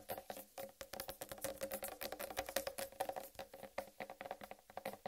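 Long red-painted nails tap fast on the green striped rind of a large, whole, uncut watermelon. The result is a quick, dense run of short, dry clicks over a steady hollow tone in the mid-range, with almost no ring after each tap.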